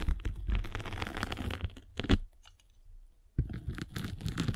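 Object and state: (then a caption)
Foam sanding sponge. A spiked derma roller is rolled across the abrasive top of a flat gray and blue foam sanding sponge held in the palm, making dense, crunchy scratching and crackling with a low rumble underneath. The rolling briefly stops into near quiet with faint ticks, then resumes just as gritty and crunchy.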